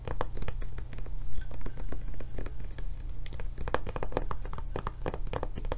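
Long nails tap quickly and unevenly on the raised handle flap and body of a blue silicone rubber tablet case held sideways. The taps are soft, dull clicks that die away almost at once, over a steady low hum.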